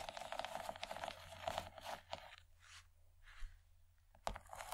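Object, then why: Textured plastic tray. Long nails tap and scratch across the textured ridges of a large, empty yellow plastic tray. A dense run of quick, crackly clicks and bright rasping scrapes fills the first two seconds, then eases into softer, slower strokes before a sharp tap and renewed scratching at the end.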